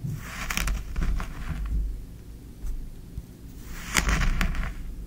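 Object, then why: Kinetic sand scraped with a small wooden spoon. A small wooden spoon digs into and scrapes green kinetic sand in a tray. Soft, gritty scraping bursts with a bright, hissy texture come in two clusters, at the start and again near the end, over a low, steady rumble, with a quieter pause between them.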